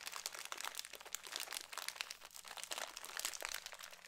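A small, apparently filled Cheetos snack bag made of foil-lined plastic is crinkled and squeezed with fingertips close to the microphone. The result is a dense, continuous stream of bright, dry crackles and crunchy snaps with almost no low end, each crackle stopping instantly with no ring.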